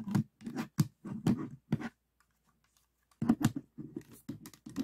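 Fingertips tap the plastic tiles and edges of a 3x3 plastic speed cube resting on a table with one slice raised. A quick run of short, dull, low-pitched clicks is followed by about a second of near silence, then another run of taps. Each tap dies away at once with no ring.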